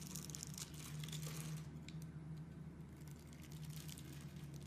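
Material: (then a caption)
Soap. A solid rectangular bar of blue and white striped soap, held in the hand, is scraped and carved with a box cutter blade, and soap shavings fall off. Dry, crinkly scraping strokes with bright, high edges repeat at an irregular pace over a steady low hum.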